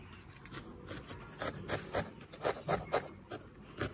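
A small, solid lavender and yellow needle-felted wool figure, held by the fingertips, is poked repeatedly with a felting needle. About a dozen soft, scratchy, rasping crunches come at an uneven pace of roughly two per second. Each is short and dry, with no ring, over a quiet hiss.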